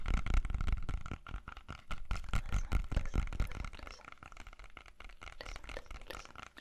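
Fingernails tap and scratch the skin of a whole, solid red-yellow apple held in both hands. Quick, irregular, dull thuds are mixed with faint scratching. They are loudest at first and grow softer and sparser over the last few seconds.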